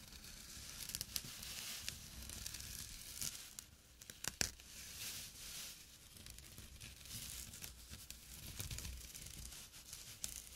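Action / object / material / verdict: scrape / small jute burlap drawstring pouch / jute / none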